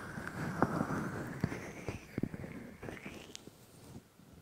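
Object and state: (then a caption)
Silicone microphone ears being rubbed. Both hands press and rub the white silicone ears of a 3Dio microphone with palms and fingers. Close, muffled rubbing and brushing is heard, heavy in the low end, with a faint shifting whistle-like tone and a few soft bumps. It fades quieter toward the end.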